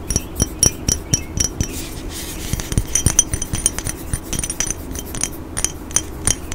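A hollow black glass cologne bottle with a silver spray top is tapped with fingernails close to the microphone. Quick, irregular clicks and bright, high glassy clinks die away almost instantly over a low background hum.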